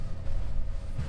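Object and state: Nothing is struck.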